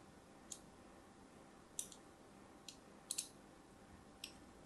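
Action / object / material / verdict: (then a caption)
scrape / soap bar scored by a thin blade / soap / none. A thin blade scores lines across the surface of a solid pink-and-white striped soap bar held in the hand. Seven short, crisp, bright clicks ring out over a quiet background hiss, each stopping almost instantly.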